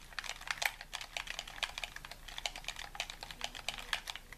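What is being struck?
Plastic game controller buttons.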